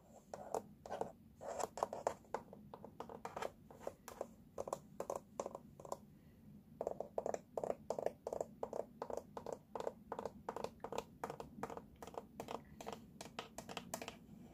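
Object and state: Plastic baby walker base.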